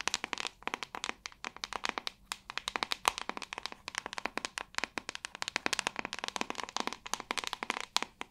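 A white plastic paddle hairbrush held by the handle is tapped rapidly by long nails on its hollow back, giving a quick stream of about sixty sharp, bright plastic clicks. Each tap is dry and dies away almost instantly, with the sound sitting mostly in the upper range and almost no low end.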